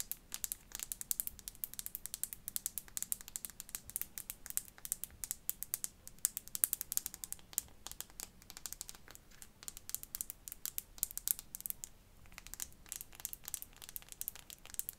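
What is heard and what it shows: A small clear faceted glass perfume bottle with its clear cap is held in the hands and tapped rapidly with long fingernails. The quiet, bright clicks and ticks are crisp and high-pitched, each dying out almost instantly, over a faint low background hum.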